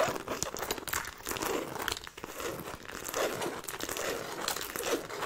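Long painted nails scratch and tap the logo-jacquard fabric side of a medium black handbag with black faux-leather trim and silver metal buckles, held close and hollow, apparently empty. A steady, dry crinkling scratch fills the clip, bright and papery with soft, muffled tapping pulses underneath and almost no low end.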